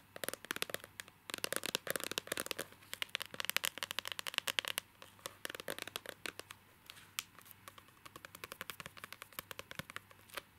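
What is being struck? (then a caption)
Rigid clear plastic case. A small, hollow, rigid clear plastic case holding a printed illustration card is held in both hands and tapped and scratched with short fingernails and fingertips. The result is a rapid stream of sharp, bright, dry clicks and scratchy crackles with almost no low end, dense for the first five seconds and then sparser, lighter taps.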